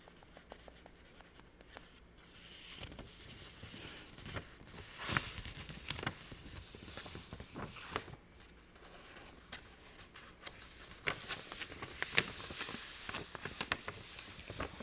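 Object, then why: Thin paper sheet. A single thin illustrated letter-paper sheet with a dog print, roughly A5 in size, is held in both hands and handled, tapped and scratched with long painted nails. Crisp, bright crinkles and sharp dry taps come in quick bursts over a soft papery rustle, and they grow louder toward the middle and end.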